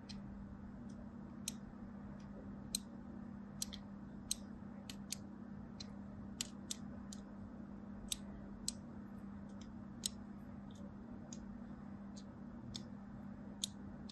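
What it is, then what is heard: Soap bar scratched with a scissor blade. A thin scissor blade scratches lines near the edge of a solid mint-and-white striped soap bar. Short, sharp, bright clicks and scrapes come at irregular intervals over a steady low hum.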